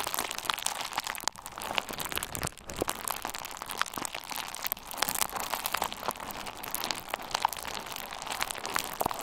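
A hand-sized bundle of pink/red plastic bubble wrap with hollow air-filled bubbles is pressed and twisted between the fingers and thumbs of both hands. Dense, bright crinkling runs throughout, with sharp pops scattered across the sound and very little low end.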